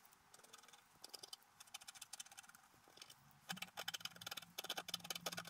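A wooden stylus scratches near the bottom edge of a flat coated scratch-art paper card lying on a table, while the other hand steadies the sheet. The result is a run of short, dry, bright scratching strokes. The strokes turn louder and denser about halfway through, with a faint low hum underneath.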